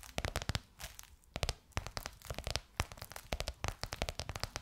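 Long nails tap and scratch a bronze-gold crocodile-embossed faux leather cover stretched over a curved hollow form. Quick, irregular taps give sharp, dry clicks with a low hollow thump beneath them, mixed with bright, crinkly scratching between the hits. Each tap dies away almost instantly, leaving a busy, crackling texture.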